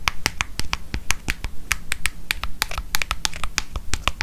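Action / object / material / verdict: tap / leather-covered paper notebook / leather / none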